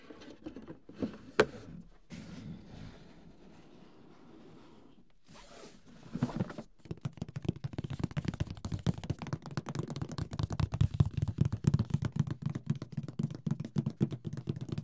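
A large, closed, printed Mysterium cardboard board game box is held and tilted while fingertips tap on its lid and sides. The first few seconds bring sparse soft taps, light scraping and one sharp knock. From about six seconds a rapid, steady run of dull, hollow, low-pitched taps takes over until the end.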